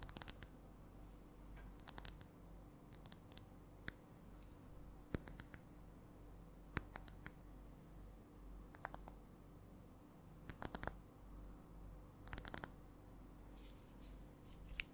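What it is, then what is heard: Glass perfume bottle tapped with fingernails. Long nails tap a small, clear, hand-held glass perfume bottle with a metallic cap, making short, sharp, bright clicks that come in irregular clusters and single taps. The clicks are quiet and die away almost at once over a steady low hum.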